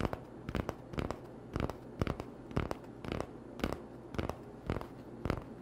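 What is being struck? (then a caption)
Cardboard toilet roll tube. Short nails scratch along the surface of an empty, hollow cardboard toilet paper tube held on a towel. The result is a string of brief, dry, papery rasps at an uneven pace, over a faint low hum.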